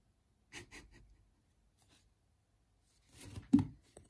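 Thumbs press the small plastic QWERTY keys of a Unihertz Titan phone held in both hands, making sparse, soft clicking taps. A few quiet taps come early, then a gap of near silence, then a busier cluster ending in one sharper click and a faint final tap. Each click is brief and dry with almost no ring.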